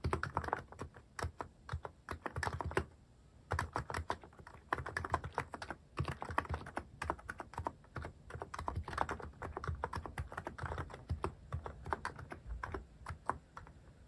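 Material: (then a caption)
Plastic. Fingertips type quickly on a Hanmumu mechanical keyboard with a white plastic case and cat-shaped plastic keycaps. Dense bursts of short, dry keystrokes with a deep low thock and brighter clicky tops fill the clip. The bursts are separated by brief pauses near 3 and 6 seconds.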